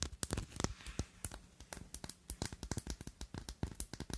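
Long nails tap and scratch the cut facets of a thick, clear glass perfume bottle with a square silver cap. A quick, uneven series of short, dry clicks with almost no ring follows, mixed with faint scratchy rasps between the taps.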